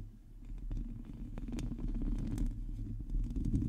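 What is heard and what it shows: Long nails of both hands scratch across the hollow metal mesh grille of a black microphone. The result is a continuous, dense, low rumbling scrape, with scattered short bright ticks over it, that swells slightly and holds steady throughout.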